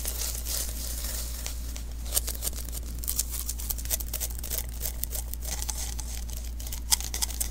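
Fingertips tap and press the tacky surface of a small, hollow sticky lint roller refill (an adhesive paper roll) held in the hands. The result is a dense run of quiet, bright crackling and crinkling ticks, like tiny sticky peels, with a few sharper snaps. A steady low hum runs underneath throughout.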